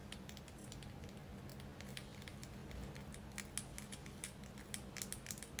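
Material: Selenite.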